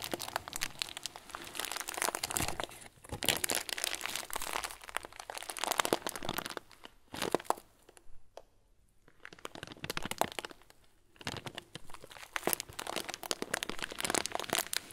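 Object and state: Plastic bag of small plastic beads.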